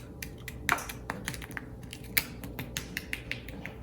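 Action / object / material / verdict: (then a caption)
tap / fried banana fritter / fried batter / crispy. Finished fried banana fritters, golden brown and crisp, are tapped and handled, giving a quick, irregular series of sharp, dry crackling taps with a bright high-frequency crunch over a quiet background. They are very crispy, with a crunchy coating formed by the sugar that comes out of the bananas.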